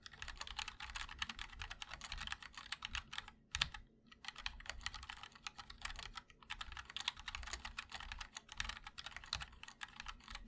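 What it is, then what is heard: Mechanical keyboard with ABS keycaps in an aluminium case. Fingertips of both hands type continuously on a 60% MOD-L mechanical keyboard with linear switches, ABS keycaps in white and black, and a black aluminum case. It makes a steady stream of short, bright clacks with almost no ring. Brief pauses fall near the four- and six-second marks.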